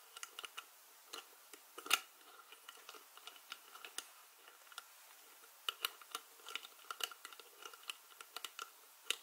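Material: Plastic.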